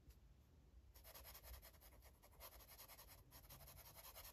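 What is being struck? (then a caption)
Felt-tip marker on a paper coloring book page. A light blue felt-tip marker rubs and scratches across the page of an open paper coloring book lying flat on a table. After a near-silent first second, quick back-and-forth strokes make a steady, bright, papery rasping over a faint low rumble.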